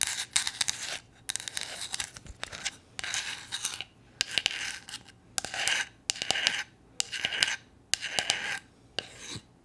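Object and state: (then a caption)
Painted flat wooden figure scratched with nails. Long nails scratch and rub across a small, solid, flat painted wooden gnome figure, producing a bright, dry rasping sound. The scrapes come in repeated bursts separated by short pauses, with almost no low end.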